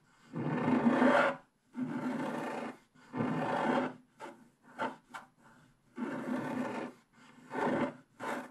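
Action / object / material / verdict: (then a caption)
scrape / coated scratch-art paper page scratched with a wooden stylus / coated paper / none. A wooden stylus scratches short strokes across a flat scratch-art paper page with a black coating. Dry, raspy scraping comes in separate bursts, some long and steady and some short and quick, with quiet gaps between them.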